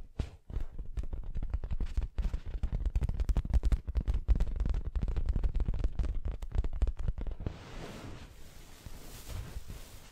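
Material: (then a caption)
Fabric. Long acrylic nails tap and scratch an orange printed fabric throw pillow that is soft and stuffed, making a rapid, uneven run of muffled low thumps. Near the end the tapping gives way to a softer, brighter scratching rustle across the fabric.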